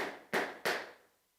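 A wooden duster is tapped twice, giving two short, dry wooden knocks with a mid pitch that fade quickly. Because it is wood, it sounds different from a plastic board marker tapped the same way.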